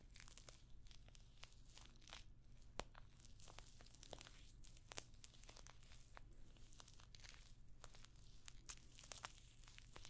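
Long nails scratch and tap across a hollow rectangular clutch purse covered in rows of small rose-gold metallic pyramid studs, held up close to the microphone. The result is a dense run of short, dry clicks and crinkly scrapes with bright, crisp edges over a steady low hum.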